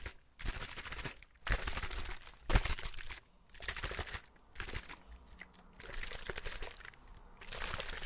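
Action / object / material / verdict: tap / thin plastic drinking bottle / plastic / none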